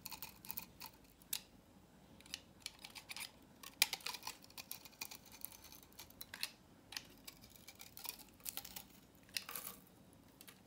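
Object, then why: Bar of soap cut with a knife blade. A utility knife blade carves strips from the edge of a solid salmon-orange dry vintage soap bar held in the hand, sending flakes scattering. Quiet, crisp, bright scraping and cutting strokes come in repeated short bursts with almost no low end and no ring after each stroke.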